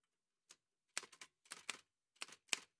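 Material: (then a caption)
Metal. An old dark-grey metal Remington manual typewriter with a hollow body and paper loaded is typed on with fingertips in white satin gloves. Quick, dry, bright key taps come in short clusters, each snapping off almost instantly with no ring.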